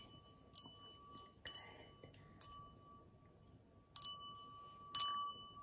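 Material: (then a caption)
Crystal. An empty stemmed cut-crystal wine glass with a diamond pattern, held in the hand, is tapped with long acrylic nails in a series of separate, quiet clicks. Each tap brings a bright, high glassy ring, with a steady sustained tone lingering in the background.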